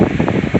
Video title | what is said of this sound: D21 Hardbody Audio sound deadening doors entirely for speaker pods 2020 👽 | you can knock on it it's like a thud now instead of a bong bong it's a thud